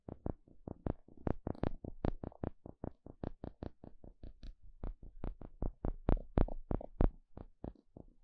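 A thin plastic pick pokes and scratches the surface of a small, flat, thin, solid wooden spatula. About 32 quick, dry taps follow one another over eight seconds, each one short with a dull low thud and a faint bright edge. The taps die away almost instantly, with no ring.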